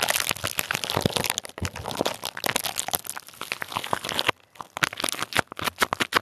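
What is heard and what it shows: Clear plastic bubble wrap covering a microphone head is pinched, pressed and crinkled with fingers and nails. It makes a dense, bright crackling and crinkling for about four seconds, then a brief near-silence. After that come sparser, sharp crackles and pops that die away instantly.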